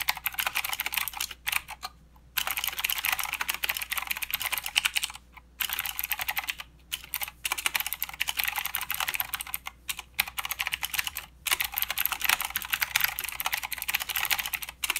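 Fingertips of both hands type continuously on a full-size mechanical keyboard with plastic keycaps and blue clicky switches. Dense runs of sharp, bright clicks clatter with very short decay and little low end, broken by a few brief pauses.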